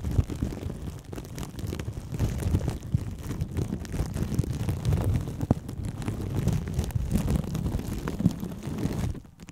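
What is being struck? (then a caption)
Plastic cling film wrapped over a microphone. Plastic cling film wrapped over a microphone is scratched and tapped by long nails and fingertips, with both hands holding the mic. A steady, dense, low crinkling rumble is broken by frequent sharp ticks and brighter crackles, then it fades out near the end.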